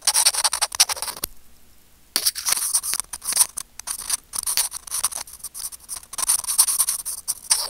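Curved steel tweezers scratch a small, hollow white plastic earphone mic remote in rapid, bright, dry strokes with almost no low end. The scratching stops briefly for just under a second near the start, then resumes in quick, uneven bursts until the end.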